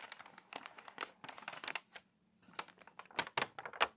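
A page is turned in an open, water-damaged glossy paper magazine resting on a table, then long nails press flat, rub and crease the crinkly pages. Dense, bright crinkling and crackling runs in quick bursts, pauses briefly just past the midpoint, and ends with a few sharper, louder snaps of the paper.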